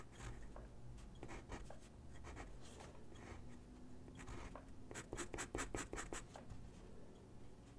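A graphite pencil sketches on a single white sheet of drawing paper resting on a wooden desk, making soft, dry scratching strokes over a low, steady background rumble. Toward the end, a quicker run of sharper, brighter strokes stands out before the sketching settles back to a light scratch.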